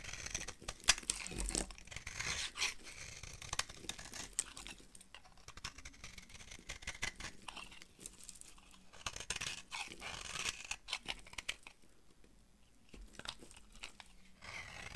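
A solid, dry lilac bar of soap held in the hand is carved with a utility knife into powdery flakes. Bright, crisp scraping and crunching cuts come in dense, uneven bursts, with quieter pauses between them. The carved bar is left with its surface shaved away.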